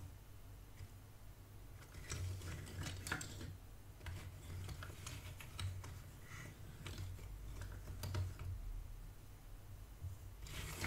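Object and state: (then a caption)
Cardboard jigsaw pieces being sifted in a box. Fingertips with dark nails sift and scratch through loose cardboard jigsaw pieces in a shallow cardboard box, while the assembled puzzle on the cloth stays untouched. The result is a quiet, steady rustle of shuffling pieces, broken by bursts of crisp, bright scratches and clicks over a low, dull rumble.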